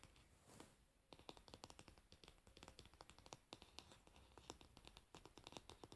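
Long fingernails of both hands tap rapidly on the solid, varnished wooden back of a paddle hairbrush resting pins-down. The result is a quiet, dense stream of short, dry, bright clicks that die away almost instantly, with a brief lull about a second in before the tapping resumes more sharply.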